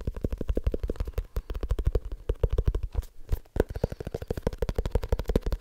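Fingertips tap quickly on the cover of a small, solid, dark leather-bound book held in the hands. Around 40 rapid, dull, low thuds follow one another with almost no ring, with a brief uneven patch near the middle before the steady rhythm resumes.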